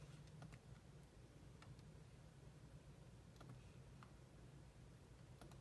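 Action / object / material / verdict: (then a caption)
tap / plastic laptop keyboard / plastic / none. Long manicured nails and fingertips tap rapidly on the low-profile plastic keys of a grey laptop keyboard while the other hand rests on a mouse. Faint, bright key clicks scatter over a steady low hum that dominates the quiet clip.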